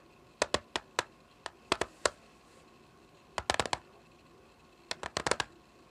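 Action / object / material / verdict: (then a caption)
tap / plastic CD jewel case / plastic / none. Long fingernails tap and drum on the top of a small, flat, hollow clear plastic CD jewel case lying on a patterned surface. Sharp, bright clicks with almost no ring come in three bursts: a slower run of taps, then two quick rolling flurries.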